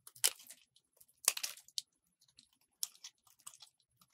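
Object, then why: Soap bar cut with a metal blade. A solid white soap bar held in the hand is cut into strips with a metal utility blade. Dry, crisp scraping cuts sound in short, bright bursts separated by brief quiet gaps, with small crumbly crackles in between.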